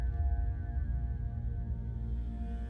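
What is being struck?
Nothing is struck.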